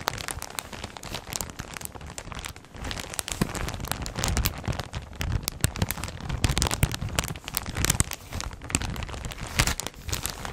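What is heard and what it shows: Fingers with long red nails hold and crinkle a full, clear plastic polybag of brown clothing with labels in front of the microphone. The result is a steady stream of dense, crackling plastic rustles, with bright sharp crinkles over a low, handling-heavy rumble.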